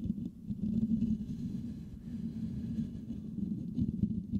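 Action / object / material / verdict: scrape / perforated metal microphone grille / metal mesh / none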